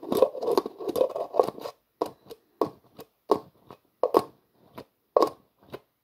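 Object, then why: Plastic jar with screw lid. A hollow, translucent plastic jar with a black plastic screw lid is held in both hands while fingers twist the lid. The result is a run of dry, ratcheting scrapes, dense and near-continuous at first, then breaking into short, separate bursts with brief silences between them. Each scrape is sharp and clicky with a mid-range body and a bright edge.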